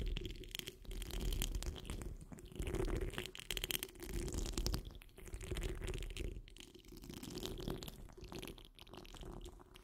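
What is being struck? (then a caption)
Steel wire-mesh microphone grille. Long nails on the curled fingers of both hands scratch the rounded, hollow steel wire-mesh grille of a large condenser microphone. The result is a dense, close, crackly rasping with a heavy low rumble, arriving in irregular swells with brief bright scratchy bursts and no speech.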